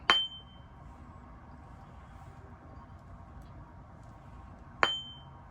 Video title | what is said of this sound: HOW TO USE A BENCH GRINDER SAFELY | we tapped it and we heard that ringing tone. That means there's no damage in the wheel